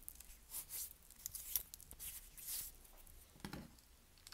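Fingertips crush, scratch and rub through a pile of dry, crumbly white soap shavings and small chunks resting on a dark surface. The result is quiet, bright, crisp crunching and crackling in short irregular bursts, with a faint low hum underneath.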